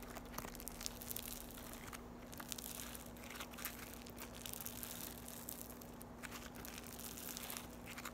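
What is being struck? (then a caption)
Floam, foam beads in slime. A solid piece of yellow floam, foam beads in slime, is stretched and squeezed between fingertips with long nails. It gives a continuous soft crinkling and crunching with small tearing pops, over a faint steady low hum.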